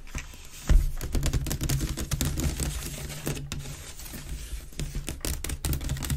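Fingers and nails scratch quickly at the rim and outer weave of a grey, hollow, empty wicker waste bin held with its open mouth forward. A dense run of dry, crackly scratches and short clicks sits over a steady low, hollow resonance.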